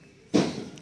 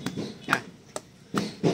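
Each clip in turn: First: A single firm knock of two coconuts, mid-low and woody, fading fast; both shells are sound. Second: Five short, dull knocks with almost no ring, the flat sound of a coconut with a hidden crack.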